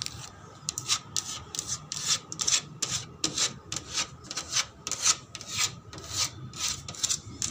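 The plastic surface of a slide is rubbed and tapped in quick, regular strokes. Each stroke is a short, bright, scratchy burst with almost no low end, over a faint steady hum.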